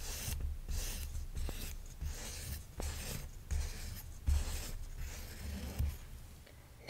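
A grey plastic toy knife held in the hand is rubbed and scraped across a soft felt play-food bread slice, one of two resting on a red plastic tray, as if spreading a condiment. The repeated strokes make a soft, scratchy rasp with bright fabric hiss and a low rumbling undertone, rising and fading in uneven bursts.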